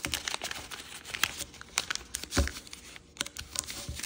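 A purple kaleidoscope origami paper sheet is folded while fingertips and nails crease and rub the folds. This makes a steady run of sharp, bright crinkles and soft rustling, with one fuller, deeper crinkle about midway.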